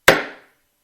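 A wooden object is struck once with a hammer, giving a dull, chop-like knock instead of a ring. The sharp attack fades within about half a second, leaving a faint, short tail around a mid pitch. The dull response differs from struck steel or glass because each material has its own natural frequency.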